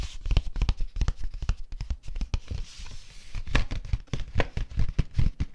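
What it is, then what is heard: Folded cardstock paper. A folded teal cardstock sheet, layered into a smaller piece, is tapped and rubbed by fingertips and long nails. The result is a quick, irregular run of short, dull, low taps with no ring, and a soft papery scratching rub in the middle.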